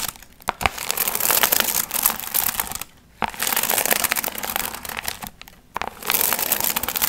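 Long nails scratch and crinkle the gold foil fringe on a medium hollow paper pumpkin piñata. Bright, dense crinkling and rustling comes in bursts, with brief quiet gaps near three and five and a half seconds.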